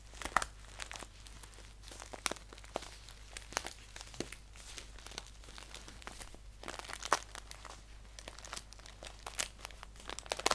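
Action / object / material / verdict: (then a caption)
scrape / paper tea bag pouch / paper / none. Fingertips crinkle and scratch a hollow, filled green paper tea bag pouch as it is held upright and then laid down. Quiet, dense, crisp crinkling and scratching with sharp bright snaps scattered throughout, over a steady low hum.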